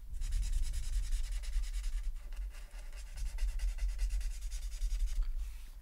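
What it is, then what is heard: Marker scratching on paper. A felt-tip alcohol marker held in the right hand rubs and scratches across a flat sheet of white paper printed with a mandala, filling in color while the left hand, with long nails, holds the sheet, which lies on a folder on a wooden desk. Continuous, closely spaced scratchy strokes carry bright, hissy texture over a low rumble. The rubbing dips briefly near the middle before resuming.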